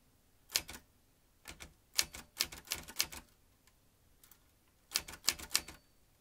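Fingertips type on the round keys of a vintage metal manual typewriter, producing crisp, bright key strikes with sharp metallic clacks that die away almost instantly. The keystrokes come in short bursts separated by brief pauses.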